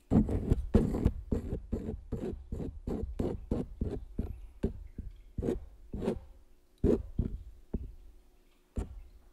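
A palette knife scratches and traces across the surface of a large stretched canvas print. It makes a quick run of short, dry scraping strokes with a dull, low-heavy body, then slows to scattered single scrapes that fade with little ring.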